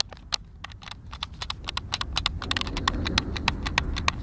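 Fingertips and thumbs press and click the buttons of a white plastic Xbox controller, hand-sized and hollow and held in both hands. About 26 sharp, bright clicks land in a quick, uneven rhythm with almost no ring. A low rumble sits underneath and grows slightly toward the end.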